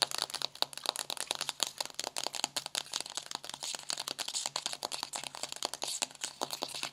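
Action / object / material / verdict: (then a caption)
tap / paperboard eyeshadow palette / paperboard / none. Long green-painted nails tap and scratch the embossed cover of a flat pink paperboard eyeshadow palette (Bad Habit Supernova) lying closed on a white table. The result is a rapid, steady stream of dry, crisp clicks and crinkly scratches with almost no low end, mostly bright and high, each tap dying out almost instantly.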